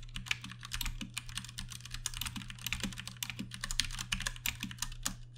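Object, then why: Mechanical keyboard with plastic keycaps. Fast two-handed fingertip typing on a compact Ducky One 2 Mini mechanical keyboard with Cherry MX Brown switches and plastic keycaps produces a dense stream of short, bright clacks with very little ring. A steady low hum sits underneath the clicking.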